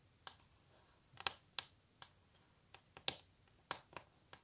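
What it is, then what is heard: Wooden table top tapped with fingernails. Long natural nails tap and scratch the edge and surface of a solid wooden table top. The result is a series of sharp, bright, dry clicks at an irregular pace with almost no ring or low end, over a quiet background.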